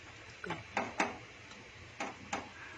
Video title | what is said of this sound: Ricardo Cepeda Easy keto bread | If you actually tap the top of your buns, there's this hollow sound that tells you they're pretty well done.